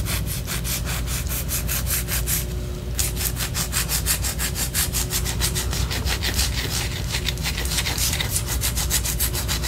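Long orange acrylic nails scratch a large white solid wax pillar candle held in a hand. The result is a rapid, steady run of bright, rasping strokes over a constant low hum, with a brief smoother stretch near the three-second mark before the rhythmic scratching resumes.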